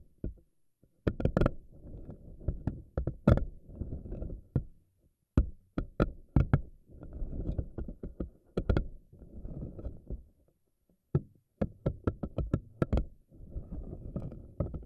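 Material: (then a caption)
Silicone. Fingernails pinch and pluck the soft tentacles of a pink silicone spiky anemone ball. Sharp, bright snapping clicks alternate with low, rubbery squishing and rustling bursts, separated by brief quiet pauses.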